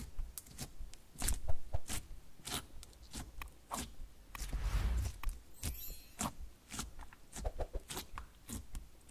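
Fingertips and a palm press and poke into a flat, glossy sheet of black-silver metallic slime, soft and solid, lying on a green table. The result is a rapid series of short, sticky pops and bright clicks over a low, soft thudding. Around the middle, one longer squelching press swells and fades.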